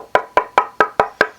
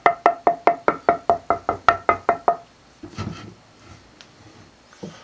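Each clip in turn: First: resonant swamp ash guitar body. Second: northern ash guitar body blank with poor tap tone.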